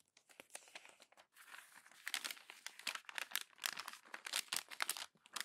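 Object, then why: Glossy paper magazine pages. Thin pages of an open glossy paper magazine are crumpled and turned by fingers with long nails. The result is dense, bright crinkling and crackling in quick bursts with short quiet gaps, growing busier and louder after the first second, with almost no low end.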